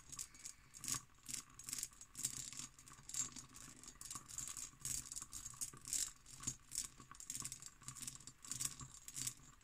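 An empty, hollow hobnail-pattern cut glass decanter with its stopper is tapped and scratched with long green nails. The result is a quiet, rapid run of bright, high clicks and rattling scrapes, each dying away almost instantly, with little low-end body.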